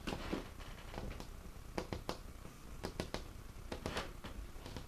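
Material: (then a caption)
Wood. Fingertips tap and scratch across a large, solid, dark-stained wooden tabletop with visible grain. Quiet, sharp wooden taps ring only briefly and stand out over a low, continuous rubbing and scratching texture.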